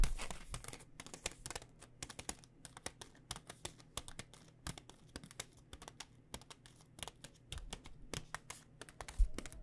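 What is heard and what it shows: Long nails tap rapidly on a full blue plastic pad thai noodle pouch, making a quick stream of sharp, crinkly clicks with light rustling between them. The taps are short and bright, with little ring, and sit over a faint steady low hum.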